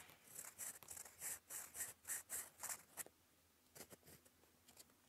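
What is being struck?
Metal pen nib on a paper sheet.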